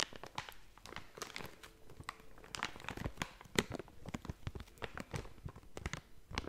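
A blue and yellow plastic/foil snack bag is scratched and crinkled with long nails and fingertips. Dense, irregular bursts of sharp, bright crinkling and crackling follow one another quickly over a soft, steady background, with each rustle dying away almost at once.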